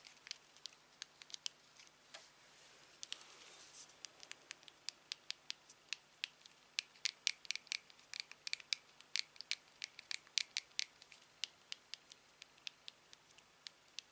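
A small, slim silver aluminium TV remote with a black click wheel and plastic buttons is held in the hand while a fingertip and thumb press and tap the buttons. About fifty quiet, dry, bright clicks come in irregular bursts, with a brief soft rustle around the third second. Each click dies almost instantly, leaving no ring.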